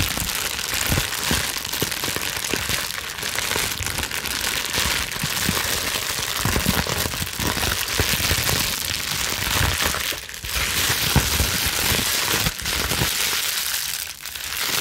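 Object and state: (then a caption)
Plastic bubble wrap sheet. A clear plastic bubble wrap sheet is held in both hands and scrunched, crumpled and scratched with long nails. The result is a dense, steady crinkling and crackling with a bright, rain-like hiss. The sound continues throughout, with brief dips in loudness near the end.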